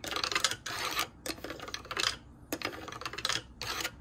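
Fingertips and nails tap fast on the solid wood boards of a light pine-colored wooden shoe rack with vertical slats. The result is a rapid, bright, clicky patter in several short bursts separated by brief pauses, with very little low end and almost no ring after each tap.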